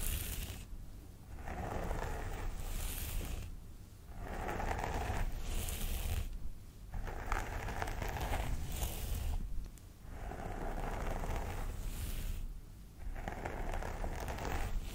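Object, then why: Synthetic hair on a vinyl doll head. Fingernails on both hands scratch along the parting of a mannequin doll head's synthetic hair, which sits on a vinyl head. The sound is a dry, crackly scratching in repeated strokes with brief pauses between, underpinned by a steady low rumble.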